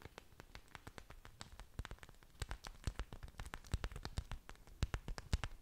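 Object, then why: Orchid plant leaves. Long dark nails and fingertips tap and scratch the surfaces of several broad, thick, waxy green orchid leaves with dangling roots, held close in front of the mic. A rapid, uneven series of quiet, dry clicks and taps is heard, each with a soft low thump and a crisp high tick that dies away almost at once. The taps grow somewhat louder toward the end.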